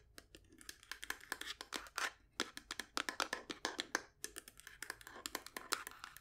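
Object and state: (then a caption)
Wooden folding chess box, hollow. A hollow, painted wooden folding chessboard case, held horizontally, is tapped with long nails on its top and sides. The result is a quick, irregular run of dozens of short, dry, bright clicks with almost no low end, each dying away almost instantly.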